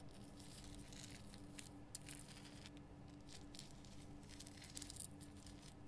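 Long fingernails scratch the rough crystal sides of a large pink Himalayan rock salt lamp, making quiet, dry scratching and crackling bursts with bright, hissy edges. A faint, steady low hum runs underneath throughout.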